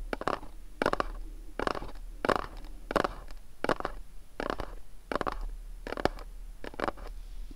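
Fingernails tap and scratch the top and sides of a small, dark, printed cardboard candle box resting on a cloth. The sound comes as a steady series of short, dry bursts of papery scraping and soft clicks, mostly in the mid range. Each burst fades almost instantly into a quiet, faint hiss.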